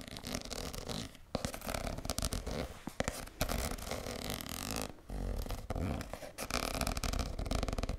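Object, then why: Soft plastic cosmetic squeeze tube. A hand-sized red soft plastic cosmetic squeeze tube with a white cap, hollow and apparently filled with cream, is held in both hands and scratched and tapped with long nails. The result is dense, continuous crinkly scratching and quick tapping with a strong low, muffled body and a bright edge, broken by a few brief pauses.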